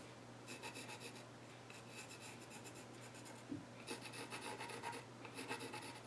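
A pencil is scratched and shaded by hand near the far edge of the flat top of a solid, reddish-brown, grained wooden child's stool. Bursts of bright, rasping strokes come in uneven runs over a steady low hum, with a soft thump partway through and denser, louder scratching toward the end.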